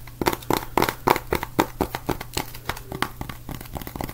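Fingertips tap and scratch the glossy card cover of a small, square, solid red and orange paperback book. The result is a quick, uneven series of short, dry taps with a faint midrange knock, mixed with papery scratching and crinkling between them. Each tap dies away almost at once.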